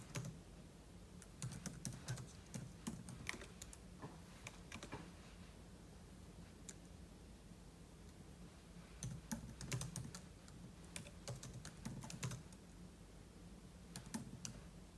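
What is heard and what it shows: Fingertips type on a silver aluminum laptop keyboard with plastic keys, making quick, bright, dry clicks that come in bursts with a quiet pause in the middle. A steady low hum sits under the clicks throughout.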